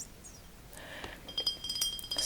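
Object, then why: Glass bottle. A 33 cl glass bottle of blonde Belgian beer is tapped, giving bright, clear glass clinks. The clinks are short and high-pitched with almost no low end, and they grow louder and closer together toward the end of the clip.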